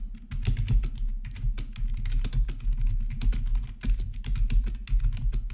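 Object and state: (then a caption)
Plastic membrane keyboard. Both hands type with their fingertips on a gaming RGB backlit plastic membrane keyboard with black plastic backlit keycaps, resting on a marble surface. A steady run of soft, quick key presses gives dull, low thumps that die away almost instantly, over a constant low hum.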